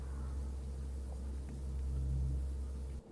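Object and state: Nothing is struck.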